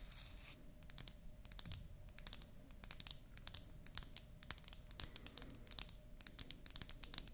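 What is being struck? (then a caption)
Small painted wooden toy lipstick. A small, solid, pink-painted wooden toy lipstick with a natural wood cap is held up, scratched and tapped with long nails, and its cap is removed at the end. The result is a quiet, steady stream of many sharp, dry clicks and scratchy ticks with bright, crisp edges over a soft low rumble.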